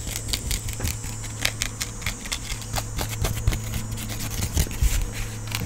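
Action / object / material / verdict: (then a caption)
tap / small portable speaker with a fabric mesh cover / fabric / none. A small, solid, hand-sized round blue portable speaker with a fabric mesh cover and a teal strap is tapped and scratched with fingertips and nails. Quick, dry taps with bright clicky edges and a scratchy rasp sit over a steady low hum near 105 Hz.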